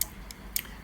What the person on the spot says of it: องค์ที่มีเนื้อเป็นขาวงาช้างเนี่ยไปกระทบกับพระสมเด็จอีกองค์หนึ่งนะครับ เสียงก็จะดังกังวานครับ